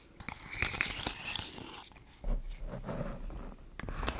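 A yellow, ribbed, hollow corrugated plastic pop tube fidget toy, empty and held in both hands, is stretched and bent so its ribs pop, and is scratched with long blue paper nails. Bright, crackly pops and scratchy crinkling come in an uneven run, then fade to a quiet moment before a heavier, lower crunching stretch with sharp clicks near the end.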